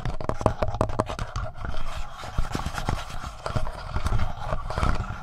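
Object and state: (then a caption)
Plastic handheld audio recorder, tapped and scratched. Fingertips scratch and tap the front body of a black, palm-sized, hollow plastic Tascam portable recorder, just below its mic capsules. The result is a steady run of close, muffled, bassy thumps mixed with dry scratching rustle, each tap dying away almost instantly.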